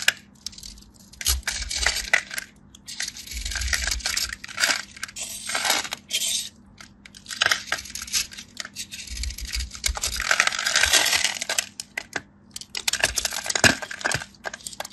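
A craft knife cuts and scrapes crisp slivers and flakes off the surface of a solid, starch-dusted dry bar of soap held in the palm. Bright, dry scraping bursts and rapid crackling ticks come in uneven waves with short pauses between strokes, over a faint steady low hum.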